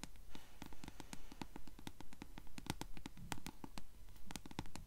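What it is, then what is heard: Paperback book page edges. Long acrylic nails tap and scratch the yellow-dyed page edges of a closed paperback book held upright. The result is a quick, fairly steady run of soft, crisp clicks with brief bright ticks and light scratchy texture, over a faint low rumble.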